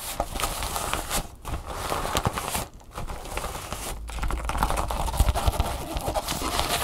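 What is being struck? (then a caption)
Empty nylon fabric bag. Long nails scratch and tap the flat fabric of an empty red nylon drawstring bag lying on a table, then pinch and scratch its folded edge. The result is a dense, steady crinkling scratch with quick soft taps over a low rumble, dipping briefly a few times before growing slightly louder toward the end.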